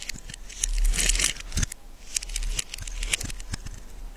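A solid yellow bar of soap is shaved and cut with a metal knife, giving a run of crisp, crackly scraping strokes. The sound is bright and dry, with short sharp cuts over a low rumble.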